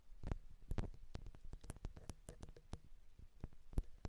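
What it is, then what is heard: Metal microphone capsules tapped. Long, dark-painted nails on both hands tap and scratch the two small, hollow metal X/Y microphone capsules of a Zoom H6 handheld recorder. The result is a quiet, irregular stream of sharp, bright clicks and taps over soft, deep, close-up thumps, with brief scratchy passages between them.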